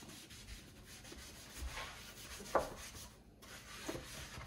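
A hand holding a white cloth rubs and wipes the floor and sides of a large, empty, wet, solid black granite-composite double kitchen sink set in a white worktop. A steady, quiet, breathy scrubbing hiss runs throughout, broken by two brief louder squeaks as the cloth drags across the surface.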